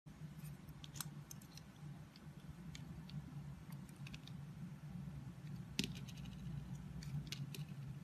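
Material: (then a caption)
Soap. A utility knife blade shaves and scrapes curls off a solid orange oval bar of soap embossed "Love Nature," held in the palm. Soft, crisp scraping ticks and brief bright clicks sound over a steady low hum, with one sharper cut near the end.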